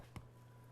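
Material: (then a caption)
Shortbread. A pan of shortbread fresh from the oven, golden brown at the sides, is tapped once to check doneness, giving a short, dull thud against a steady low hum. The tap sounds right, showing the shortbread is baked through.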